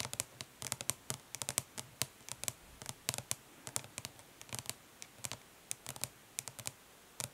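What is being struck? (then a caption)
Plastic eyeshadow palette tapped with fingernails. Long nails tap quickly and scratch lightly across the raised lettering on the lid of a flat, hollow plastic eyeshadow palette resting on cloth. About 35 short, crisp, bright clicks come in uneven bursts, with a faint scratchy texture between them. Each tap dies away almost instantly, with only a little low thump beneath the high click.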